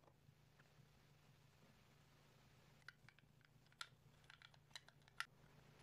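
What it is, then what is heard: Plastic toy playhouse. A small, hollow, red and green hard-plastic apple-shaped Hello Kitty playhouse with a small figure inside is held in both hands while fingertips and short nails tap and click on its shell and base. After about three seconds of faint, steady low hum, a scatter of light, bright plastic clicks and taps follows, with a few sharper, louder clicks standing out. Each click is dry and dies away almost instantly.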